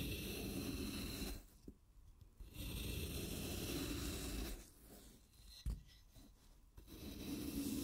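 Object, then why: Floral foam block. A wooden-handled carving knife scrapes and shaves along the edge of a handheld, rectangular block of solid, wet green floral foam. Three long, gritty, broadband scraping passes are separated by quieter pauses, with a sharp click in the second pause. The passes carry a low rumble and a bright hiss.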